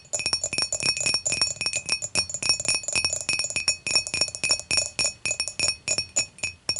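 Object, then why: Glass beer mug. Long matte nails tap quickly across the body and handle of an empty, clear, dimpled glass beer mug lying on its side, heard close up near the handle. Each tap is a bright, high, glassy clink with a short ring, repeating in an uneven rhythm throughout.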